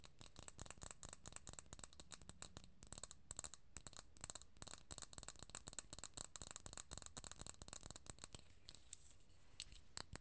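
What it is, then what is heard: Small glass bottle. A small glass serum bottle of gold liquid with a gold cap is tapped rapidly with long nails close to the mic. The result is a dense run of quick, crisp clicks with a high, bright glassy ring, broken by a few brief pauses and thinning out near the end.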